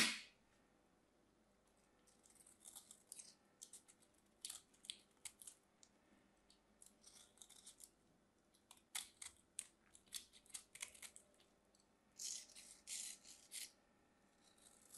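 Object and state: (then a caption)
Bar soap being cut. A small craft knife cuts into and through a solid mint-green bar of soap held in the hand. Quiet, crisp, bright crunching and scraping clicks come in irregular clusters, with short silent gaps between them.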